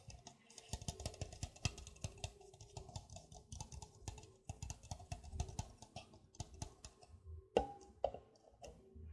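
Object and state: Empty hollow plastic cup.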